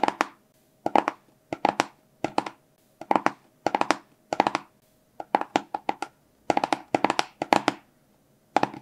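A small, hollow, blue and white printed cardboard product box is held in both hands and tapped with fingertips and short nails. Quick clusters of dry, hollow taps centered in the midrange come in short bursts separated by brief silences. Each tap dies away almost instantly with no ring.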